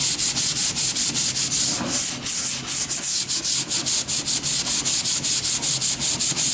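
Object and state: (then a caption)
Wooden board being sanded. A hand sands along the edge of a long, thin, solid wooden plank with a sanding sponge. Steady back-and-forth strokes make a bright, raspy hiss, repeating at a quick, fairly even pace with a brief slower patch partway through.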